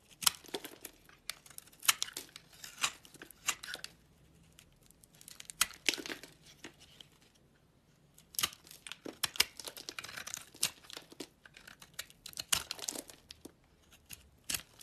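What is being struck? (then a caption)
Glycerin soap bar shaved with a knife blade. A utility knife blade shaves along the sides of a small, solid, translucent yellow-green amber glycerin soap bar held in the hand. Quick, crisp scraping and crackling strokes come in dense, bright bursts, with brief quiet pauses around the four- and seven-second marks. Little low end is heard beneath the sharp peeling sound.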